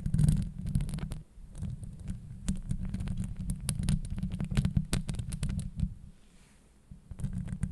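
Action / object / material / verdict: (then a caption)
scrape / steel mesh microphone grille / steel mesh / none. Long acrylic nails scratch across the top of a hollow steel mesh microphone grille, giving a dense, deep rumbling scrape full of quick clicky ticks. The scratching runs almost continuously, drops to near silence for about a second near the end, then starts again.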